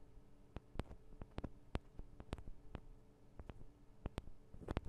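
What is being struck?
Metal microphone capsules of a handheld recorder.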